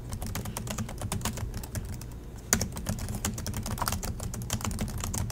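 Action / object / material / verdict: tap / plastic laptop keyboard / plastic / none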